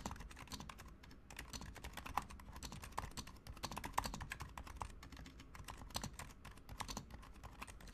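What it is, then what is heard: Plastic mechanical keyboard being typed on. Fast two-handed fingertip typing on a Razer Huntsman Mini, a compact 60% mechanical keyboard with a white plastic case, white plastic keycaps, lubed silent switches and a colour-changing backlight. A rapid, dense stream of soft, muted keystrokes with a low thocky body and very short, dry decay, with a few sharper clacks standing out.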